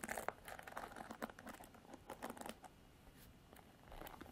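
Long artificial nails scratch the black bristles of a Revlon paddle hairbrush with a plastic body, making dense, dry crackling clicks and scrapes with a bright, papery edge. The scratching is busiest over the first two and a half seconds, then drops to a faint, softer rustle before picking up slightly at the end.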